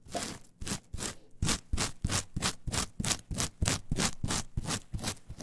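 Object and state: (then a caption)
Coir fiber mat being scratched. Long nails and fingers quickly rub and scratch the fibers of a flat, brown, coarse coir fiber mat. About 14 rapid, broadband scraping strokes run at a fast, slightly uneven pace, each a dry, bristly rasp with high crackle. The strokes stop short, with no ring.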